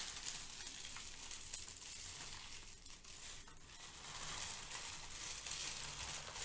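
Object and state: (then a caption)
Crinkled kraft paper shred. Long-nailed fingers gather and crush a pile of brown crinkle-cut kraft paper shred filler. They make a steady, bright crinkling and crackling that stays mostly in the high range, with a brief dip in loudness midway before it picks back up.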